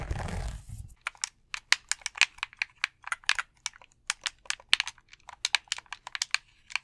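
A hollow white plastic gamepad is held in both hands while its buttons and shell are tapped and clicked with fingertips. A brief soft rustle opens the clip, followed by a quick, irregular run of sharp, bright, dry plastic clicks with almost no ring.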